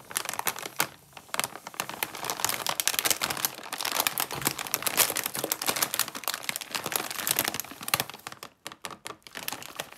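Long purple-painted nails and fingertips rub and press a medium sealed, foil-lined plastic Lay's crab chip bag, full of chips and lying flat on a green mat. The result is a dense, bright crinkling and crackling with sharp clicks. Near the end it breaks into sparser, separate crackles.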